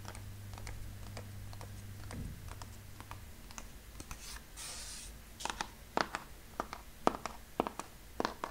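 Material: Cardboard.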